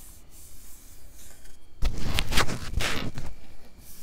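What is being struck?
Round metal mesh microphone grille.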